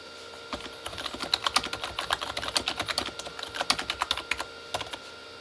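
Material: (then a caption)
Plastic. Both hands type with fingertips on a full-size Corsair K35 plastic mechanical keyboard with red-backlit plastic keys. A quick, uneven run of sharp, bright plastic key clacks begins after a brief quiet start. Each stroke dies away almost at once, and the typing stops just before the end.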